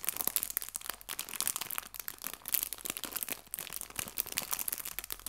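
A small, thin clear plastic bag full of fake fabric leaves is crinkled between the fingertips and nails of both hands. It makes a steady stream of quiet, bright, crackly crinkles with almost no low end. The crinkles come in short bursts that rise and fall in loudness over about five seconds.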